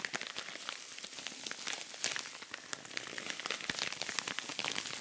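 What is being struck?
Rhinestone-covered cosmetic pouch.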